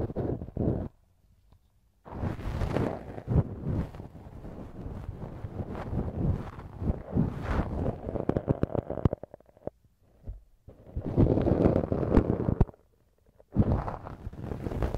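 A thin wooden earpick repeatedly scratches inside the soft, hollow canal of a right silicone ear model mounted on a binaural microphone. Dense, low, muffled scraping and rubbing comes in bursts, broken by short silent gaps.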